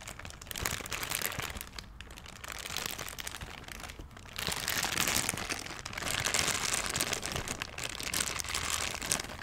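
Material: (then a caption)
Plastic. A thin, clear, empty plastic bag is squeezed and crinkled with the fingers close to the microphone. The result is a dense, continuous, bright crackling rustle that swells louder in the second half.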